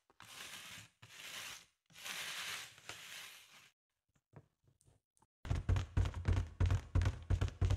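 A spoolie brush sweeps across a large, hollow, inflated green latex balloon in several soft, airy, hissing strokes. After a brief near-silent pause with a few faint ticks, long nails rapidly tap and scratch the top of the balloon, producing quick, hollow, low thumps with crisp clicking edges.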